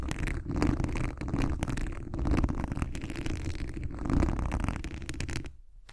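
Fingertips and long acrylic nails scratch the hollow, mesh wire dome grille of a large condenser microphone, making a dense, continuous rasping and scraping texture with a heavy low rumble. The scratching swells and eases in waves, with brief bright ticks, then fades out near the end.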